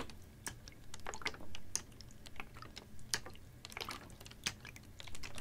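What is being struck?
Ribbed plastic water bottle with water.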